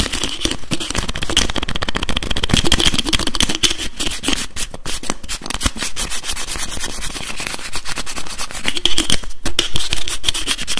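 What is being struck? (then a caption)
Plastic bottle with screw cap. Fingers rapidly tap and twist the screw cap on a translucent blue plastic bottle holding liquid. The result is a dense, continuous run of quick plastic clicks and scratchy ticks that never settle into a steady rhythm, with a heavy low thump beneath a faint bright edge.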